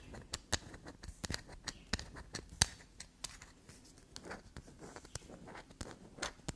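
A solid black soap bar held in the hand is scraped and dug into with long black nails, leaving soap shavings on the table. A quick, uneven run of sharp, dry clicks, taps and scratchy scrapes plays at a soft level, each one bright and dying away at once over a faint rustling bed.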